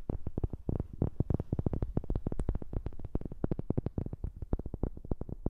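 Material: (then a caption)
Wood. Rapid, steady tapping on a wooden object, recorded close with a new microphone. Each tap is a short, dull, low knock that dies away almost at once, with most of the energy in the deep low end and little brightness.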